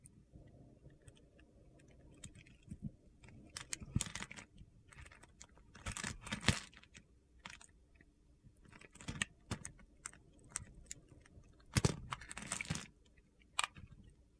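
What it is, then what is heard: Soap bar being carved. A metal utility knife blade scrapes and carves a solid, palm-sized yellow soap bar, held in the hand and pre-scored in a cube pattern, so crunchy cubes break off and fall away. Short, dry, gritty crunches and bright crackling scrapes come in uneven bursts over a faint low rumble, with the loudest cuts near the middle and end.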